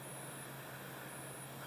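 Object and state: Nothing is struck.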